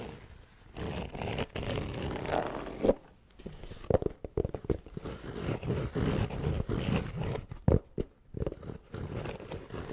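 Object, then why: Hard-shell EVA zipper case. Fingertips and nails scratch and tap the fabric shell of a closed, hollow, black hard-shell EVA zipper case held close to the mic. The sound is a dense, low, rustling scratch with sharp little taps breaking through, and brief near-silent gaps between bursts.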